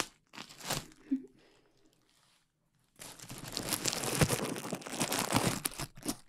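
A large sheet of clear plastic bubble wrap with air-filled bubbles is held in both hands close to the mic while fingertips squeeze and pop the bubbles and crinkle the sheet. Dry crinkling and sharp popping snaps come in short bursts, then fall to near silence for about a second. A longer, denser stretch of crunchy crumpling follows with scattered pops.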